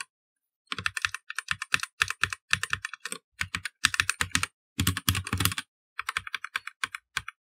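A full-size black plastic mechanical computer keyboard with plastic keycaps is typed on continuously with the fingertips of both hands. Quick bursts of sharp, bright clacks come in uneven runs with short pauses, each keystroke a crisp click with a brief low thud underneath and almost no ring.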